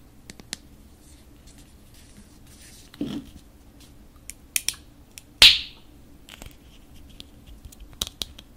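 A large red plastic acrylic paint tube, full of paint and with a black screw cap, is held in the hands while long nails tap and scratch along its body and cap. Sharp, bright clicks and short scratches come in scattered bursts over a quiet background, with one louder tap that rings briefly before fading.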